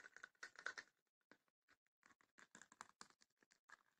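Long nails tap on the lid and sides of a small, closed, hollow wooden chest with woven rattan panels. Quick, light, dry taps and scratchy clicks come in a dense flurry at first, then a short pause, then an irregular run of separate taps. The sound sits in the midrange around 1.5 kHz with a bright edge and dies away almost instantly.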